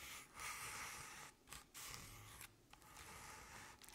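Long painted nails slowly scratch the sides of a medium artificial jack-o'-lantern covered in crinkled orange paper. The result is a soft, bright, papery rasping in sustained strokes, broken by brief quiet pauses between them.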